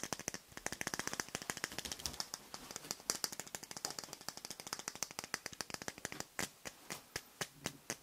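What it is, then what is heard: Nylon ladle tapped. Fingertips and nails tap and scratch the bowl of a black plastic or nylon kitchen ladle with a metal handle, held up by the handle. Rapid, crisp, bright clicking taps come in a dense flurry at first, then slow into more evenly spaced ticks toward the end. Each tap is dry and very short, with almost no low end.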